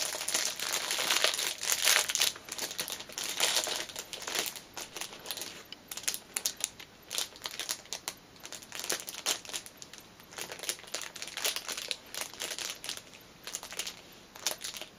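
Long nails tap and scratch the clear cellophane wrapper of a small black fabric pouch lying on a cushion. The result is a dense, bright, uneven crinkling with quick clicks, loudest in the first few seconds and then softer and more scattered.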